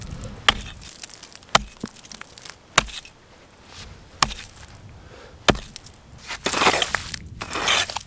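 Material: Ice.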